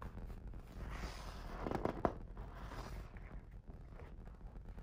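A fingertip traces the illustrated paper pages of an open hardcover picture book, making a soft, steady rustling hiss. Around the middle, a page is turned with a brief flurry of crisp, sharp crackles. The sound then settles back into quiet, low brushing strokes.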